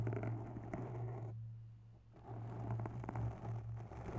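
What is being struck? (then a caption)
Foam microphone windscreen. Long bare nails scratch and tap a grey foam microphone windscreen up close. The sound is soft, muffled rustling and dull thumps over a steady low hum, with a brief quieter pause in the middle before the scratching resumes.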